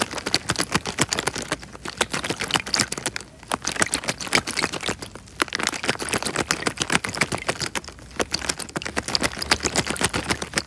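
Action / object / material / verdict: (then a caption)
scrape / small plastic bag filled with water / plastic / none. A small clear plastic bag full of water is squeezed and rubbed by fingertips in front of the microphone. Rapid, irregular crinkling clicks and soft squelches come in dense bursts with brief quieter gaps. The sound is bright and crisp, with little low end.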